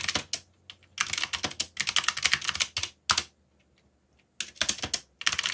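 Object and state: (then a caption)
Plastic mechanical keyboard typing. Fingertips type on a backlit mechanical keyboard with black plastic keycaps. Bright, sharp clicking keystrokes come in quick bursts separated by short pauses, with a faint low hum underneath.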